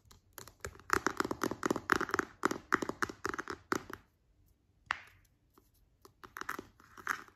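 A large, round, hollow white plastic cream jar with a glossy green plastic screw lid is tapped on the lid and side with fingertips and long nails. Rapid, irregular, dry clicky taps centered in the upper midrange run for about four seconds, with no ringing. After a short pause and a brief soft rustle, a few sparser taps follow.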